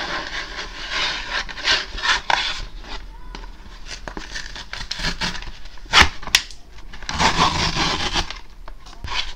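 Long painted acrylic nails scratch and rub across a flat brown cardboard Amazon shipping envelope, which is held in both hands and looks empty. Dry, papery scraping and rubbing fill the clip with bright hiss, punctuated by a few sharper taps.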